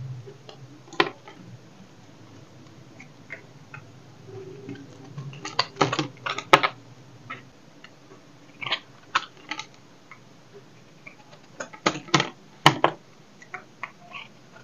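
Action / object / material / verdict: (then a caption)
scrape / bar of soap cut with a knife / soap / none. A knife blade cuts into the edge of a solid, rectangular dry soap bar with embossed lettering, held in the hand. The clip is a series of irregular, crisp scraping and crunching cuts, some in quick clusters, each dying away almost at once over a faint low hum.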